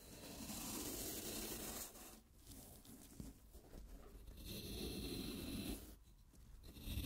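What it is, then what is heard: Floral foam block. A wooden-handled carving knife scrapes and shaves along the edge of a handheld, rectangular, solid block of wet green floral foam. Two long, loud passes of gritty, tearing rasp with a bright hiss and low rumble are separated by quieter, crumbly scratching, before a final soft scrape.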